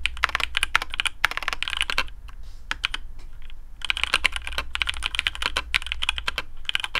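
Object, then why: Mechanical keyboard with plastic keycaps. Fingertips of both hands type on a black custom AARU mechanical keyboard with TTC Speed Silver switches, PBT plastic keycaps on a carbon fibre plate, and a hollow case. Rapid bursts of crisp, bright clacks are heard, pausing briefly near the middle before resuming, over a steady low hum. Each keystroke is short and dry, with almost no ring.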